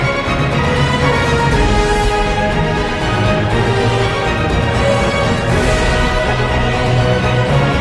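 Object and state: Nothing is struck.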